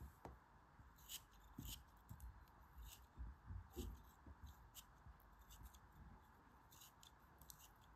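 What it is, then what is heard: Kinetic sand block being scraped. A metal craft knife shaves and scrapes a rounded, hand-held lump of solid kinetic sand in a quiet, close setting. Irregular soft scraping strokes each bring a bright, grainy crunch over low, muffled thumps. Loose grains patter down after the cuts.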